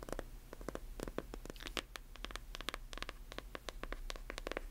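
Long nails scratch and tap on a closed hardcover book with a paper jacket, working over both the cover and the page edges. The result is a quick, irregular run of short, dry clicks and bright scratches over a steady low hum.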